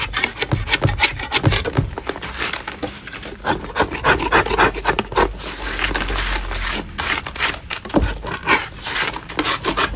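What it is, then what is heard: Natural chalk block being scraped. A large, solid natural chalk block is scraped with a metal putty knife inside a plastic bin. Rough, gritty scraping strokes repeat at an uneven pace, with bright crumbly rasping and occasional dull low knocks.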